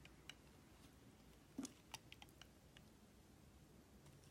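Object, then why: Glycerin soap bar scraped with a metal blade. A metal utility knife blade shaves and scrapes a solid translucent yellow glycerin soap block held in the fingers, peeling off curls beside a pile of soap shavings. Soft, short scraping clicks and crisp, bright ticks come in an uneven series over a low, quiet background, with the strongest cuts in the middle of the clip.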